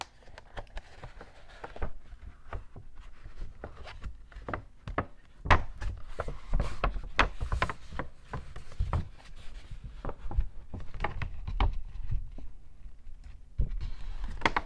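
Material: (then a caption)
Paper. An empty, medium-sized white Apple paper shopping bag, folded flat with its bottom gusset visible, is handled, flexed and tapped with fingertips and short nails. Quick dry taps and crinkly rustles come in an uneven stream, each a dull low thump with a brief bright crackle that dies away at once. A few taps land harder than the rest.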